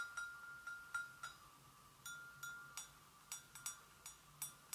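Long nails tap a hollow, empty white porcelain gravy boat on its handle, rim and sides, producing 13 light, irregularly spaced clicks. Each tap leaves a short, bright ring pitched around 1.4 kHz that fades quickly.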